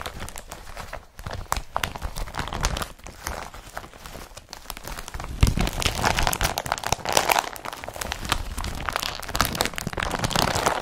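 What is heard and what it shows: Hands crumple and rub the folds of an empty blue woven polypropylene IKEA BRATTBY carrier bag. A dense, continuous crinkling and scratchy rustling runs throughout, growing louder and brighter about halfway through, with a low rumble of handling beneath it.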